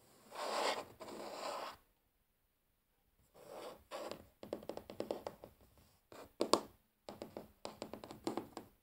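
Natural fingernails tap and scratch across a large solid wooden tabletop, mostly with one hand while the other is sometimes raised. Two long soft scratching strokes come first, then a near-silent pause. Bursts of quick, dry, bright taps and short scrapes follow, each dying away almost at once.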